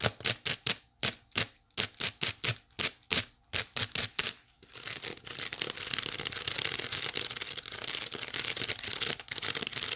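Long nails scratch and tap the strands on the flat woven face of a small hollow white wicker basket. Short, bright rasping strokes come first with gaps of silence between them. They then give way to dense, continuous high scratching for the rest of the clip.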